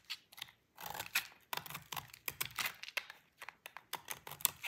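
A utility knife blade scrapes the edge of a solid, dry cream bar of soap painted purple, and the shavings fall onto the table. A quick series of short, crisp, bright scraping and crackling bursts, with brief gaps between strokes, stops almost instantly with no ring.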